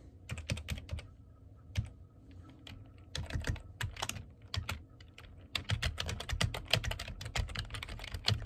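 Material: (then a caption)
Plastic. Fingertips tap the keys of a black plastic computer keyboard in quick, uneven bursts, with short pauses near the 2- and 5-second marks. Each keystroke is a short, dry click with a low thump and a bright edge, and it dies away almost at once.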